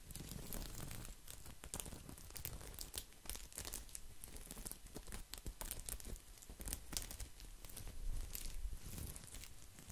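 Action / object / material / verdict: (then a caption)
scrape / coiled woven straw placemat / straw / none. A round, coiled, woven straw placemat is scratched with nails and fingertips, making a dense, continuous rustling patter. Quick, dry, bright scratches crackle over a low background rumble, with short flurries swelling and easing throughout.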